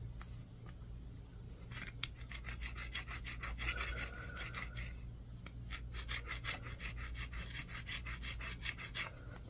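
A solid green bar of soap is scratched with a yellow-tined tool on a wooden handle, making rapid, uneven, raspy strokes with a bright, gritty edge. The scraping sounds dry and short, sitting over a steady low hum.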